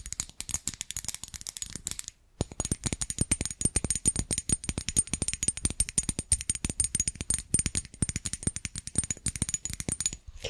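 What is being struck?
Glazed ceramic tree figurine.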